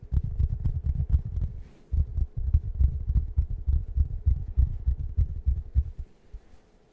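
A large round waffle-shaped fabric foam cushion with a soft plush surface is rubbed and scratched with fingertips close to the microphone. The result is a quick, irregular series of soft, low, muffled thumps and scratches with a faint low hum underneath. A brief quiet gap occurs near the two-second mark, and the sound fades out at the end.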